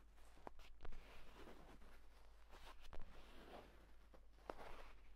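Fingers scratch and rub the pebbled cover and spine crease of a purple leather tablet folio case lying flat. The result is a soft, continuous scratchy rustle broken by a few sharper taps. A low hum sits underneath.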